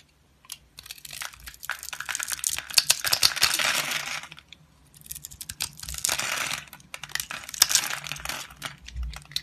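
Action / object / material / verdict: scrape / bar of soap / soap / none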